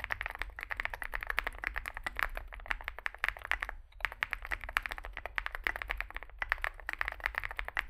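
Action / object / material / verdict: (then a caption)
tap / mechanical keyboard with aluminium case and plastic keycaps / aluminium, plastic / none. Both hands type continuously with their fingertips on a compact 65% Zoom65 mechanical keyboard with an aluminium case, foam fill, lubed switches and SA plastic keycaps, resting on a desk mat. Rapid, dense keystrokes produce short clacky taps centred around 1.8 kHz over a steady low hum. There is a brief pause near four seconds before the typing resumes.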